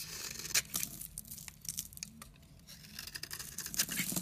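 A utility knife blade shaves and scrapes thin layers off the surface of a solid, rectangular, palm-sized orange bar of soap held in the hand. Quiet, dry, crisp scraping and shaving strokes come in short bright bursts with soft crackling between them, with no ring after each stroke.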